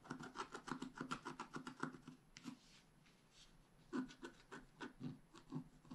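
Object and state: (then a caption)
Scratch art paper being scratched. A wooden stylus scratches fine strokes into the mane on a black wax-coated scratch art paper sheet held flat. It makes a quick, uneven run of short, dry, rasping scratches with a slight pitched tone. The strokes pause briefly in the middle, then resume.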